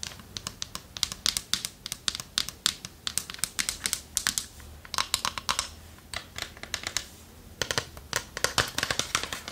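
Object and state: Wooden chest tapped with fingernails.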